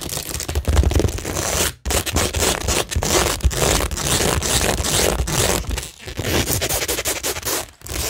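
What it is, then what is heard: Rhinestone-covered cork board being scratched. Long nails rapidly scratch across a framed cork tingle board that is flat and solid and covered in rhinestone mesh with pearl and gem stickers. The result is a dense, continuous, bright scraping and crackling texture with a low rumble underneath. It breaks off briefly near 1.8 and 7.8 seconds before resuming.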